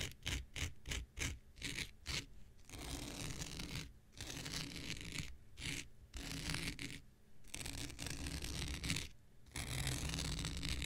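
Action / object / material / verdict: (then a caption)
scrape / synthetic fiber scouring pad / synthetic fiber / none. An X-Acto knife blade scratches across a thin, hand-sized blue non-woven synthetic fiber scouring pad held in the hand. It opens with a run of quick, short rasping scratches, then moves into longer, continuous scraping strokes separated by brief pauses. The sound is a rough, broadband hiss with a bright edge over a low, fibrous rumble.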